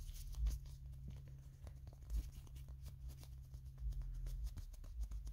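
Fingertips and nails tap and scratch a small hand-held Kirby toy figure of molded plastic with a purple and yellow hat. Soft, irregular clicks and light scratching sit over a steady low hum, with a few slightly louder taps standing out. The overall sound is quiet and close.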